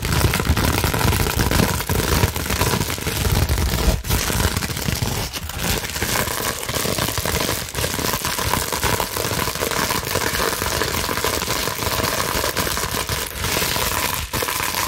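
A large clear plastic bubble wrap sheet is scratched fast with long nails and scrunched. The result is a steady, dense crackling and crinkling, with a heavy low rumble under bright, hissy scratches and brief sharp pops throughout.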